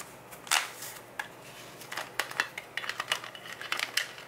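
Fingertips and short nails tap and scratch the yellow plastic lid of a full, clear plastic Nature Made gummy vitamin jar. The sound is a quick, irregular series of dry, bright clicks and ticks with light scratchy rasps between them, each dying away almost at once. There is no low-end body.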